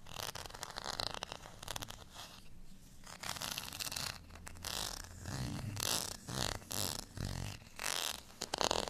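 Fingernails scratch the bumpy, dotted face of a small, solid beige plastic rice paddle. Dense, bright rasping scratches come in uneven bursts with short pauses between them, over a faint low rumble.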